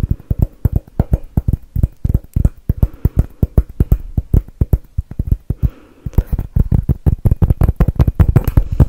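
A glossy dark blue hollow glass Christmas bauble with silver glitter swirls and a metal cap is held close to the mic and tapped with fingertips and nails. Rapid, short, dull taps land in quick irregular bursts, mostly low and thumping with a faint click on top. A brief quieter pause near the middle gives way to a busier, denser stretch of tapping.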